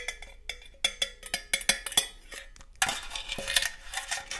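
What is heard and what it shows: A hollow red and green cylindrical metal cookie tin with a green lid is tapped on its side and lid with long gold metal claw nails. The result is a run of sharp, bright metallic clicks and taps with a short ring. Near the end it turns into a denser, steady scratching rattle.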